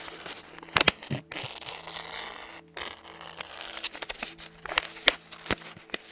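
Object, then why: Paper napkin. A small white paper napkin or tissue, held in both hands close to the microphone, is crinkled and rubbed by the fingertips. The result is a bright, dry crackling and rustling, with a few sharper, louder crinkles standing out over a faint steady low hum.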